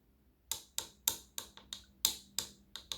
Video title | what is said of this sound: Essential Nails Acrylic Overlay Course - Tipping, Blending and Acrylic Application Tutorial | If I give it a tap, you can hear that sound, it's dry. If it's not, you get kind of a dull thump.